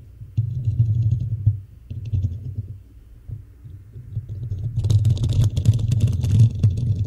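Long nails scratch the hollow black metal mesh grille and body of a desktop microphone. The scratching comes through as a dense, boomy low rumble of rapid, uneven strokes. After about five seconds it turns louder, with bright, crackling scrapes layered over the rumble.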